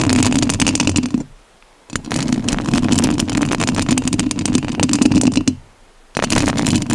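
Long nails scratch the metal mesh grille of a rhinestone-covered studio microphone, making a close, dense scraping with a strong low-mid rumble and bright, crackly texture. The scratching comes in three stretches, broken by two brief silent pauses.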